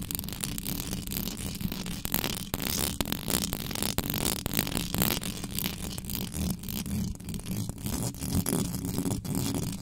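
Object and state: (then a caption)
Metal microphone grille, scratched. Long nails scratch fast over the hollow metal mesh head of an uncovered black condenser microphone, with hands sweeping across the grille. The result is a dense, continuous rasping with a heavy low rumble and a steady hum around 188 Hz. Brief sharp scrapes spread bright crackle up into the high range.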